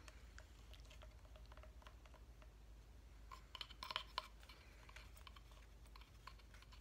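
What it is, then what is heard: Wooden reindeer decoration tapped with fingernails. Fingernails tap on a flat cut-out reindeer decoration of solid light wood with small wooden number blocks, making quiet, irregular, short, bright clicks over a low steady hum. A brief cluster of sharper, louder taps comes near the middle before the tapping settles back to a soft patter.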